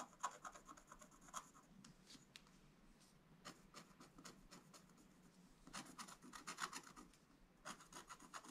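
A wooden stylus, held upright, scratches lines into a flat black-coated scratch-art card page. Short, dry, raspy scratching strokes come in quiet bursts, bright and hissy with little low end. There is a busier cluster of strokes near the end.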